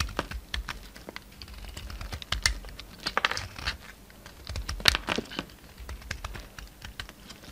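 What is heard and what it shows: A solid oval pink bar of soap with a red outer layer, held in the palm, is cut and scraped with a utility knife blade as chips pile up. Crisp, bright scraping clicks and short crackling strokes come in quick, uneven bursts with almost no ring after each one.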